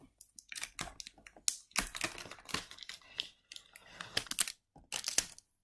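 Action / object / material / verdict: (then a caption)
tap / small cardboard box / cardboard / none. A small, hollow printed cardboard retail box for Razer Kraken BT headphones, likely holding the product, is held in the hands and tapped and scratched with fingertips and nails on its front, back and sides. The result is a quick run of dry, bright taps and papery scratching bursts with almost no low end, each dying away at once between brief pauses.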